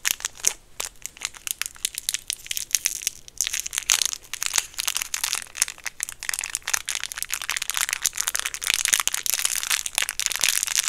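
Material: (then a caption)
Plastic film. A small, round, white ring-shaped hard mint candy in a clear plastic wrapper is held up in the fingertips and crinkled and squeezed by the fingers. Dense, bright crackling and crinkling bursts run steadily through the whole clip, with almost no low end.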